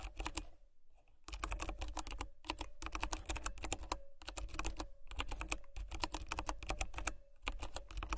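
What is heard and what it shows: Fingertips and long nails type rapidly on a compact, hollow Royal Kludge RK84 mechanical keyboard with white plastic keycaps and brown switches. Quick bursts of dense, crisp clicks carry a deep hollow thump and bright clacking edges. Each keystroke stops short, and a few brief pauses fall between the runs.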